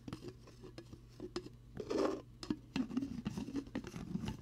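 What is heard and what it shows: A hollow, translucent plastic protein shaker bottle with a blue lid is held beside a binaural mic and tapped with fingertips. It gives quick, dull, hollow taps around 300 Hz that die away almost instantly. A louder, brushing swell comes near the middle, and an uneven flurry of taps follows.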